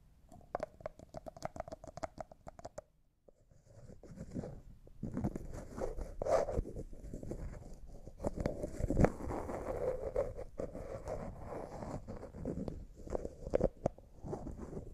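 A small, hollow, clear jar that looks like glass, apparently empty, with a white plastic lid is held in the hands while fingernails tap it and the lid is twisted. Quick, dry clicking taps with a faint tone near 480 Hz fill the first three seconds, then a brief pause. Continuous scratchy, grinding rubs from the twisting lid follow, with scattered taps mixed in until the end.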